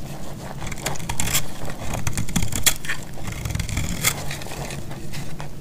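A solid, dried yellow bar of soap is held in the hand and sliced and scraped with a metal utility blade. Steady crunchy, crumbly scraping fills the clip over a dense low rumble, broken by sharp, bright crackling bursts as the blade cuts through.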